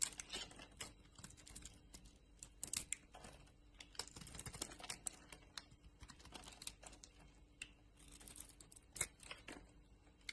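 A utility knife blade shaves chunks and flakes off a solid pink soap bar with purple and white stripes, held in the palm. The clip is a quiet, dense run of crisp, bright scraping and cutting ticks with occasional sharper snaps. Each sound stops almost instantly, with no ring.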